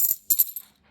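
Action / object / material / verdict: drop / silver half dollar coins / silver / solid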